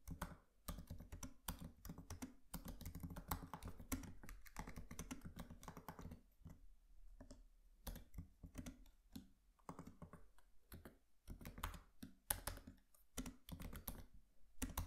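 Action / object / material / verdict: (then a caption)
tap / laptop keyboard with plastic keys and metal body / plastic / none. A MacBook Pro laptop keyboard with black plastic keys and an aluminium body is typed on by both hands tapping with their fingertips. The result is a steady run of quick, short, dull key clicks, mostly low in tone with brief pauses between bursts.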